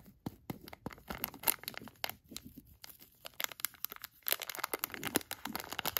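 A thin black tweezer-like tool traces and scratches the front and clear edges of a palm-sized, filled HotHands hand warmer package made of crinkly plastic. The result is a dense run of quiet, bright crinkles and sharp scratchy ticks with little low end and almost no ring.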